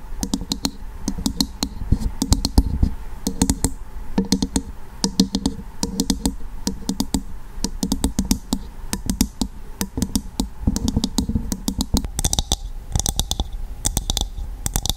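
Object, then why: Dried coconut shell half. Long acrylic nails tap and scratch a hollow, empty dried coconut shell half resting dome side up. Rapid clicky taps with a low, hollow knock come in quick bursts, broken by bright scratching rasps. Each tap dies away almost instantly.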